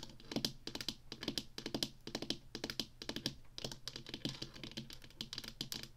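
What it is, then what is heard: Plastic joystick controller. Long nails tap quickly on the sides of a small, hollow black plastic Atari joystick controller held upright. The result is a rapid run of dry, bright, clicky taps that stop short with almost no ring.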